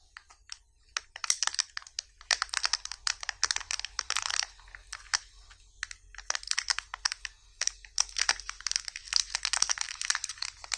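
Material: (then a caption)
Aluminium foil. Fingertips and short nails pick, rub and peel at the crinkly red printed aluminium foil wrapping a small hollow chocolate egg held in both hands. Dense bursts of sharp, bright crinkling and crackling come in clusters with brief quieter gaps.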